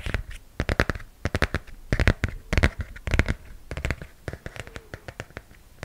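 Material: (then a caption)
Coated cardboard. Fingernails scratch and tap on the glossy cover of a hardcover comic book held close up. Quick, uneven bursts of dry taps with a dull low thud alternate with brief papery scratches, each stopping almost instantly with no ring.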